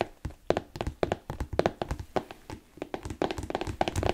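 A hollow, empty smooth black leather Chelsea boot with an elastic side panel and a thick yellow-stitched sole is held up in a hand and tapped with fingertips and nails. The result is a rapid, uneven series of short, dull taps and thunks with a mid-range hollow tone and almost no ring.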